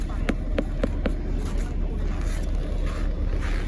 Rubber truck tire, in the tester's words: реально постучать по колесам это просто пластмассовые колеса